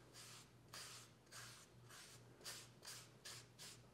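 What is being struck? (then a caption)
Wooden cooking spoon rubbed with an oiled cloth. A folded oiled cloth held in the fingers rubs along the bowl and handle of a long, solid wooden cooking spoon lying flat on a fabric mat. Repeated soft, breathy swishing strokes with a bright, hissy texture come in uneven rhythm over a faint low steady hum.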